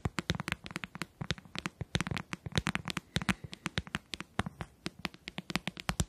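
Fingertips and nails tap and click on the hollow shell of a closed white plastic handheld game console held in both hands. About forty quick, dry clicks come in an uneven run, each with a low hollow knock and a bright snap that dies away almost at once.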